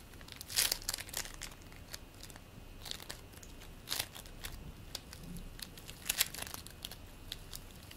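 Fingertips pull apart and squeeze back together a solid, squishy green play foam ball made of polystyrene beads. The foam gives off a crinkly, bright crackle in quick bursts, with a few louder snaps standing out over a soft, steady bed of fine rustling.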